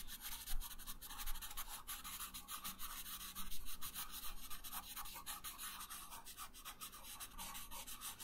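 A yellow wooden pencil colors a thin paper coloring page resting on a wooden table, making quick back-and-forth rubbing strokes. Each stroke gives a soft, dry scratch with a bright papery hiss, over a faint low rumble at a steady, quiet level.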